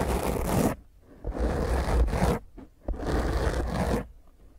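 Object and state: Foam microphone windscreen being scratched.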